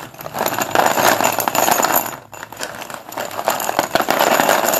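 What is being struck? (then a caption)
Chalk sticks in a plastic bowl. Fingertips of both hands dig into, stir and lift a pile of many solid white cylindrical chalk sticks (Sundeep dustless pure white chalk) in a blue plastic bowl. The sticks make a dense, continuous bright clatter and clicking against each other and the bowl, briefly quieting just past the two-second mark before resuming.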